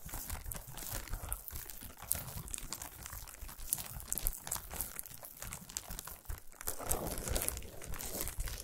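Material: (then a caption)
Aluminum foil. Long nails scratch and tap rapidly on a solid chocolate bar wrapped in shiny aluminum foil, resting on a towel. The foil gives a steady, bright crinkling and scraping texture, broken by quick, dull taps that thump low.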